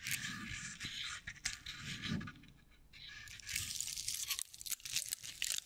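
Long nails scratch along a straw decorative owl figurine covered in bristly dry straw fibers, held above the mic. The result is a dense, bright, crackling scratch, with a brief quieter dip midway before the rustling picks up again.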